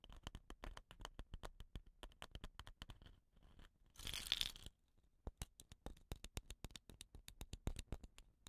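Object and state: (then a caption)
Wooden rain stick. Fingernails scratch the body of a hollow, dot-painted wooden rain stick with rattan ends as it is turned in the hand. Quick, dry, bright scratches tick along at an uneven pace, about four per second. Midway they give way to a short, dense hissing rush before the scratching resumes.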